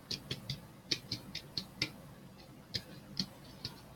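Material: Plastic.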